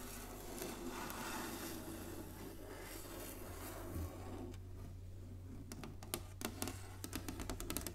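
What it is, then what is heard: Wooden chessboard. Long nails scratch and rub across the surface of a large, flat inlaid wooden chessboard, making a soft, steady scraping texture over a constant low hum. Partway through, the rubbing gives way to a series of short, sharp, bright taps on the board.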